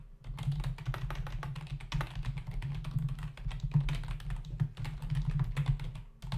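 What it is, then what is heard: Plastic computer keyboard. Fingertips of both hands type steadily on a black plastic membrane computer keyboard resting on a desk, its hollow body and plastic keys producing a rapid stream of short, dry taps. Each keystroke gives a low, hollow thud with a brief bright click that dies away almost at once. The typing runs continuously with a brief pause near the end before it resumes.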